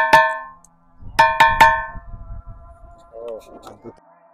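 A stone at a hilltop temple is struck four times, giving a metallic, bell-like ring centered near 910 Hz with bright overtones. The strikes come as one hit, a pause, then three quick hits, each ringing out briefly. Faint low rumble and a short wavering tone follow.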